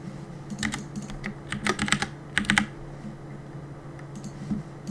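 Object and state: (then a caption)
Plastic mechanical keyboard. Fingertips press the keys of a black plastic Cooler Master compact mechanical keyboard with a hollow body, resting on a wooden desk, while gaming. Irregular bursts of bright, clacky keystrokes come in quick clusters, some louder than others, over a steady low hum.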